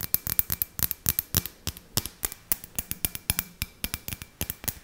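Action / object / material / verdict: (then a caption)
tap / glass ornament ball / glass / none. Long nails tap and scratch close to the mic on a handheld, clear, hollow, round glass ornament ball with fairy lights inside and a rope hanger. Around thirty quick, sharp, bright clicks land in an uneven rhythm, each dying away almost at once, with soft scratchy texture between them and a faint steady thin tone underneath.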